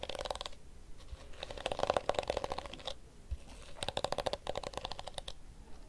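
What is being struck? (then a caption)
Plastic detangling hairbrush. A blue and pink plastic detangling hairbrush has its pink plastic teeth rubbed with fingertips and its hollow blue back tapped with nails. The result is bursts of quick, dry clicking and scratching with a faint ring around 570 Hz, separated by short quieter pauses.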